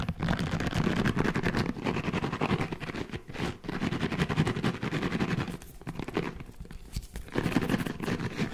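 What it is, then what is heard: Silicone scalp massager brush. A hand-sized red silicone scalp massager brush with soft bristles is squeezed and scratched quickly with fingertips. It makes a dense, fast, uneven run of soft scratching and rubbing, heavy in the low end with little brightness. The scratching dips briefly a few times before picking back up.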